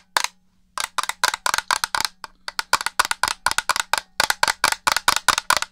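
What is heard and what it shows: Long fingernails tap rapidly on the hollow black plastic shell and buttons of an original Xbox controller held close to the mic. The result is a quick series of short, dry, bright clicks with almost no ring, in irregular bursts after a brief pause near the start.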